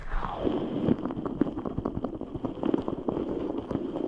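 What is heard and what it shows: A large translucent rubber stress ball full of red gel beads is squeezed and rubbed with both hands. The result is a continuous stream of soft, wet squishing and squelching pops with a low-mid body. The clicks are quick and irregular, and the sound stays steady throughout.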